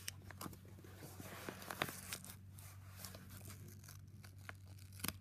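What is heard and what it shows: Palms press a yellow Jiffy padded paper mailer with contents inside while fingertips crinkle and fold its paper flap. Quiet, dry crinkling and tearing-like rustles come in short bursts with a few sharper crackles, over a steady low hum. The crackles stop abruptly with almost no ring.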